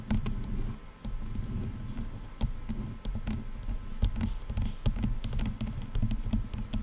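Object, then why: Padded plastic headphone headband. Long painted nails of both hands rapidly tap the padded leatherette and plastic headband of a pair of hollow, lightweight over-ear headphones draped over a microphone. The taps are quick, dull and muffled, with a deep, boomy low end and brief sharp clicks, forming a dense, irregular patter that dies away almost instantly after each touch.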